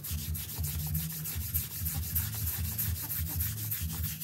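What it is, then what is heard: Synthetic doormat rug being brushed. A gloved hand scrubs a small, flat printed rug with a low synthetic pile, lying on a tiled floor and sprinkled with white powder, back and forth with a stiff-bristled hand brush. The steady strokes produce a continuous bright, scratchy rasping hiss over a low, rumbling undertone.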